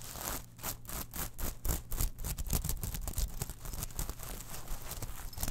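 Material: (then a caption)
Metal mesh. A small gold, silver and black metal mesh clutch pouch is picked up, turned in the hands, and rubbed and scratched with long nails. The result is a steady run of quick, gritty scratching bursts with a bright, hissy top over a heavy low rumble.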